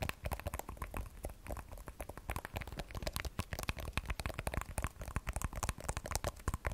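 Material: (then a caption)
Glass. An iPhone 12 Pro with a matte glass back bearing the Apple logo and a steel frame is held sideways in both hands while long nails tap rapidly on the back. A dense stream of short, dry clicks comes with a soft low thump and no ring, continuing steadily throughout.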